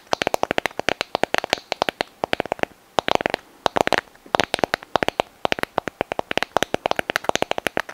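Long fingernails tap and scratch the surface of a small white sand dollar skeleton, hollow and brittle, held up in both hands close to the microphone. It makes a rapid run of dry, sharp clicks with a hollow midrange tone and bright edges, broken by a few brief pauses and quiet scratchy texture. There is almost no low end and no ring after each tap.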